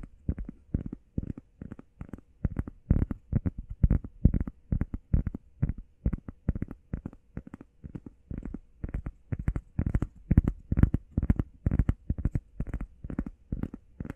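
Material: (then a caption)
Foam. Fingernails tap quickly on a heart-shaped workout foam pad. Rapid, irregular bursts of soft, dull taps, mostly low-pitched with almost no ring after each hit.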